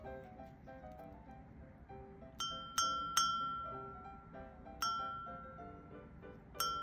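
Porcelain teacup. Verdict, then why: Cracked. An antique porcelain teacup with a crack that shows clearly once cold water is poured in is flicked five times over soft background music. Each flick gives a clear, bright ring near 1.35 kHz that sustains for about half a second. The cup is cracked, yet it still rings clear, so a clear ring does not prove the cup is sound.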